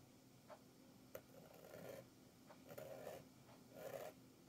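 A red-handled metal nib tool, held in the fingers, scratches through a thick layer of black and blue oil pastel on a flat sketchbook page (sgraffito). Three longer rasping strokes with a scratchy midrange tone are heard, with brief sharp ticks between them. The sound stays quiet and close.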